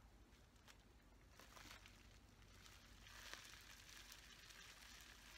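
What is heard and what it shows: A folded sheet of clear plastic bubble wrap is held in both hands while the fingers squeeze and crinkle it. The result is a quiet, continuous crinkling rustle with bright crackles over a steady low hum, growing a little busier toward the end.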